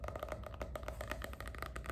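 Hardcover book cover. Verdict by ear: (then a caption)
Hollow. Rapid light taps, about fifteen, on the neon green and pink hardcover cover of the book *Diversity of Aesthetics* give short, dull knocks over a low hum. The cover sounds hollow, more hollow and different from the cover of *Lend & Rule*.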